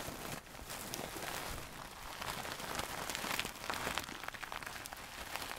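Long nails scratch a medium soft stuffed pillow with a gold satin cover. The result is a steady, quiet, bright scratching hiss with fine crackles, much like rain pattering on a surface, rising and falling slightly without clear separate hits.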